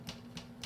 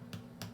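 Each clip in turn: First: Three quick, muffled taps with no ring, a dull papery thud from a soft-crusted sourdough loaf. Second: Two short, dry, crisp taps on a fresh sourdough loaf, whose hard crust gives a brittle, non-ringing click.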